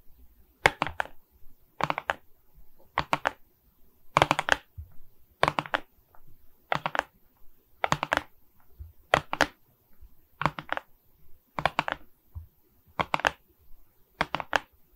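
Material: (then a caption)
Resin. Long nails tap the resin rhinestone bead surface of a diamond painting set on a wooden frame. The taps come as about twelve quick bursts of dry, clicky hits, evenly spaced every second or so. The clicks are crisp and bright with almost no ring.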